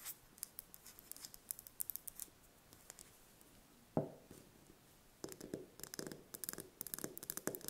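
Long red nails tap and scratch the thin shell of a single brown chicken egg held in the hands. Sparse, quick, bright clicks give way to one louder tap near the middle, then a denser run of scratchy taps with more body toward the end.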